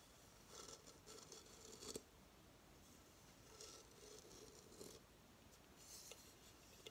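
A hollow coconut shell hamster hideout is held in the hands and tilted to show the underside of its shell stand, while fingernails scratch and tap the stand base. Soft, bright scratching comes in short bursts, with a few sharp taps standing out, the loudest near the two-second mark.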